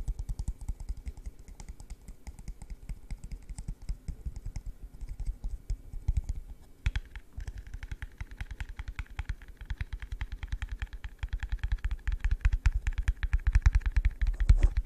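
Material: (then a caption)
Plastic. An empty, hollow yellow translucent plastic cup is tapped rapidly with fingertips, producing a steady stream of short, dull, low-pitched taps with almost no ring. Partway through, the tone shifts and gains a brighter, hollow edge, and at the end the cup is held upside down over the mic as the tapping grows slightly louder.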